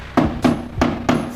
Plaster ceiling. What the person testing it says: i test out with a stick is hollow, we can install downlight here